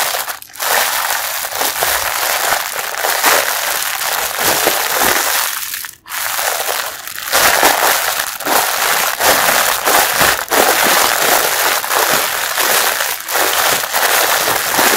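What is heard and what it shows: Fingers squeeze a packaged pink mesh bath sponge through its clear plastic wrapper, producing a dense, continuous crushing and crinkling crackle. The wrapper and the compressed sponge give a bright, noisy texture with little low end, briefly dropping away about halfway through before the squeezing resumes.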